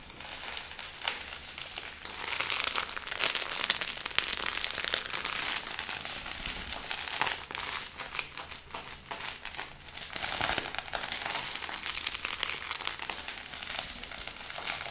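A thick stack of paper banknotes bound with a yellow rubber band is held in both hands and squeezed, riffled and crinkled with the fingertips. The result is continuous dry, bright crinkling and crackling with a dense stream of tiny rustles and almost no low end, swelling and easing over the whole stretch.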